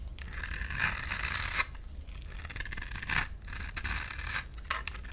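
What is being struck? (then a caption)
Bar of soap. A utility knife blade scrapes and shaves the surface of a solid rectangular purple bar of soap held in the hand, letting dry crumbs fall. Bright, hissing scraping strokes come in uneven bursts with a thin high whistling edge, separated by quieter gaps over a faint low rumble.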